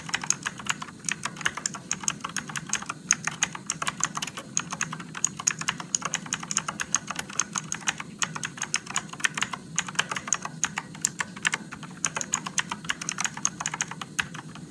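Fingertips of one hand type slowly on a Motospeed RGB-backlit mechanical keyboard with blue switches and plastic keycaps. A steady stream of sharp, bright clicks rings out, each dying away almost instantly over a faint low background hum.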